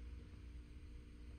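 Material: Nothing is struck.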